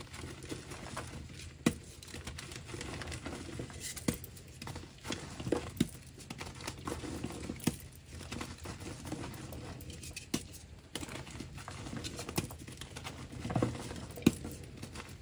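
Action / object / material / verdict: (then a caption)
scrape / pressed gym chalk block / chalk / none. Fingertips and nails press and crush a hand-sized, dark blue, solid, half-round block of homemade pressed gym chalk sitting in blue chalk powder. Soft, dull, low crumbling and crunching continues throughout, broken by occasional sharper snaps. The block breaks apart into powdery chunks.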